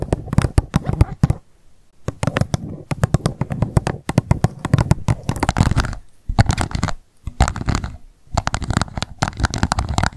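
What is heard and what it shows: Long nails tap rapidly on the base of an empty, hollow, transparent pink plastic cup standing upside down. The result is dense bursts of short, dry clicks with a low hollow thump, separated by brief pauses.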